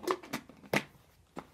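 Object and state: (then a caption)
Plastic shaker bottle with a loose metal whisk ball rattling inside. A closed plastic protein shaker bottle is shaken, and its loose metal wire spring whisk ball rattles inside with a few short, bright, clattering knocks separated by brief pauses. This rattle is the normal, expected sound of the whisk ball doing its job.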